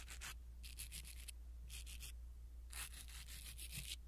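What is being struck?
Foam microphone windscreen rubbed with silicone bristles.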